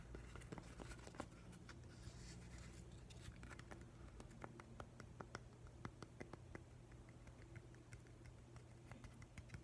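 Fingertips and nails tap along the face of a solid grey, weathered driftwood plank with a small hole. Quiet, sharp, dry taps and light scratches come at an irregular pace over a steady low hum, each click dying away almost at once.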